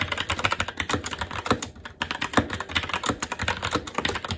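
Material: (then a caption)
Plastic. Continuous fast typing with the fingertips of both hands on a SteelSeries Apex 7 TKL mechanical keyboard with plastic keycaps on a metal top plate and Red linear switches. About 30 short, clacky keystrokes come in a steady rapid stream, with a brief lull near the middle. Each strike is bright and dies away almost instantly.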